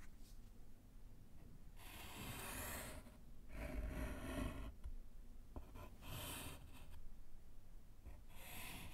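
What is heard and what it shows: A gloved hand writes with pink chalk on a small, flat, solid slate blackboard set in a wooden frame. Bursts of bright, hissing chalk scratching come and go, set over a low, rumbling background.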